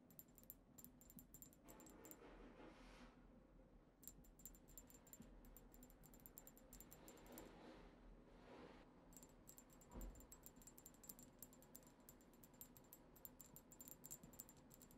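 A tall, cylindrical, dark-tinted glass perfume bottle with a black cap, holding liquid, is rapidly tapped with long acrylic nails of both hands. It gives bursts of quick, bright, clicky glass taps with short ringing tones, broken by brief softer stretches and a low background rumble.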